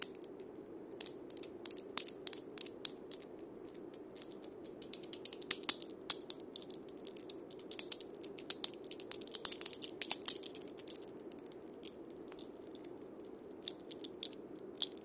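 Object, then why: Wood and steel bead cabasa. A handheld cabasa, a wooden cylinder wrapped in loops of steel ball-chain with a wooden handle, is rubbed and scraped with fingertips and palm while being turned. It makes a quiet, ratcheting rattle of dense, bright, very short clicks over a soft steady rasp in the low-mids, with louder bursts clustered in the middle of the clip.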